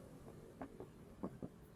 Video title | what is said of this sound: UDAH BELI HONDA BRV TAPI MASIH KURANG NYAMAN ?? | ini lebih padat ya suaranya